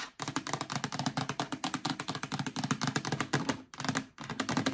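Long nails and fingertips tap rapidly on the base of a hollow, empty yellow plastic storage bin, producing a steady run of thunky, hollow knocks with a low body and a bright clicky edge. The knocks stop short with almost no ring and pause briefly twice near the end.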